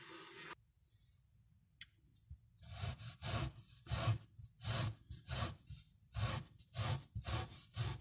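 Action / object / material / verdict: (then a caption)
scrape / small foamy pile carpet scrubbed with a tiny bristle brush / fabric / none. A tiny bristle brush on a thin handle, held in the fingers, scrubs back and forth across a small brown patterned pile miniature fabric carpet covered in soap foam. After a short hiss and a near-silent pause, a steady series of soft, breathy rubbing strokes begins. Each stroke is a bright scratchy swish over a low thudding undertone, repeating in an uneven rhythm.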